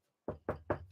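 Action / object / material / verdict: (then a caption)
knock / wooden surface / wood / real. Three quick knocks on a surface of real wood, each sharp and separate. The sound is a dull, mid-pitched thud with very little ring.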